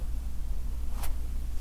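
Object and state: Nothing is struck.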